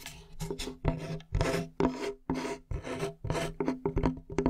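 Fingernails scratch and rub across the surface of a large, flat, light plywood board held in both hands, producing a string of rasping strokes. The scrapes come in short and long bursts with a faint woody tonal ring beneath them, fading quickly between strokes.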